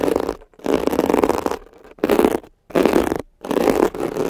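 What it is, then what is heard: Textured foam scrub sponge. A thin metal ear pick scratches a soft, compressible, blue palm-sized foam scrub sponge with a glittery woven mesh cover, which rests over the microphones while fingertips hold it. Five bursts of dense, rough rasping carry a strong low-mid body and a fizzy, bright edge, separated by short near-silent gaps.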